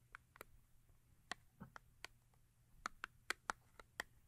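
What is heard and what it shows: Long acrylic nails tap and scratch the front face of a small paperboard soap box standing upright on fur. Quiet, dry, bright clicks come at an uneven pace with no ring, along with a brief soft scratch partway through.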